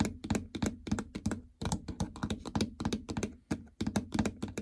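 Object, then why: Plastic treadmill console with membrane buttons. Long natural fingernails and fingertips tap on and around the raised membrane buttons (up/down arrows, stop/enter) of a flat, hollow plastic treadmill console with a printed heart-rate chart. Quick, irregular taps land at about 200 per minute, each a short, dull, hollow thunk with a low resonance near 211 Hz and a bright clicky edge. Every tap dies away almost at once.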